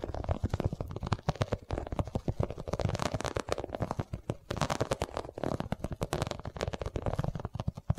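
An iridescent, holographic quilted vinyl cosmetic pouch, held upright beside the microphone, is tapped rapidly with long nails. The result is a dense, steady stream of short, soft, dull thuds with a low, muffled body and a faint crinkle. There is almost no ring after each tap.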